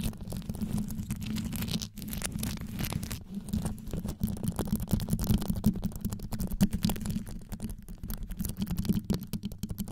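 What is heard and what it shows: Long yellow nails scratch fast around the rhinestone-covered grille of a black condenser microphone. The result is a dense, continuous stream of deep, rumbling scratches that are heavy in the low end, with quick gritty ticks and brief pauses near two and three seconds.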